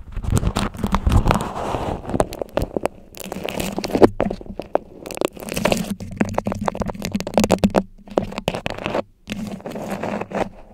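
Long yellow nails scratch and crinkle a stiff floral beeswax-coated cloth food wrap draped over a microphone head. Dense bursts of crackly, papery rustling carry a heavy low rumble, broken by brief quiet gaps near 3, 8 and 9 seconds.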